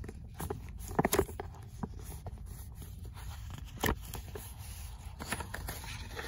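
Fingernails scratch the rough page edges and cover of an old paperback book, then move to the pages inside, making soft, dry rasping and scraping sounds over a low rumble. A few louder scratches stand out near the start and middle.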